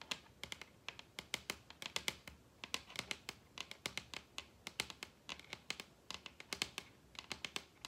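Long red nails tap and scratch across a large solid wooden table top. Dozens of quick, bright, dry clicks come in an irregular rhythm, with almost no low end or ring and a soft scratchy hiss between them. The level stays quiet throughout.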